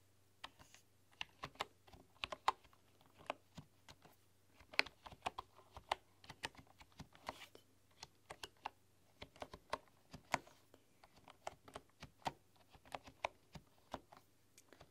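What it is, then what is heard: Bamboo computer keyboard. Fingertips and long dark-polished nails type and tap on a full-size bamboo computer keyboard with wooden keys. The result is a steady, irregular run of short, dry, bright clicks that stop almost instantly, over a faint low hum.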